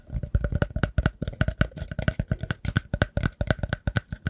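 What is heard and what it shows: A round, hollow woven rattan/wicker basket with a hole in the center is held in the hands and scratched and tapped with fingertips and nails along the weave. A rapid, uneven run of short, dry taps and scratchy clicks follows, each with a soft, low, hollow thump and a faint bright tick that dies away almost instantly.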